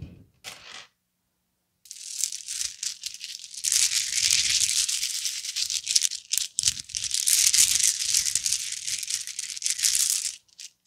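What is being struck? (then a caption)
Plastic bead necklace. A necklace of large, round, likely hollow red plastic beads is held up and dangled, then shaken and rubbed between cupped palms and fingertips. A couple of brief clicks are followed by a short silence, then a dense, steady, bright clattering rattle of beads knocking together continues with small dips until the end.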